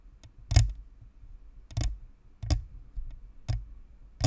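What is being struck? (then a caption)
Plastic and metal microphone shell. Long nails tap and scratch the top, then the sides, of a white hollow plastic spherical USB microphone (plastic and metal, Blue Snowball). Six separate taps land through the clip, each a short, deep, boomy thud with a brief bright click. Faint scratching fills the gaps between them.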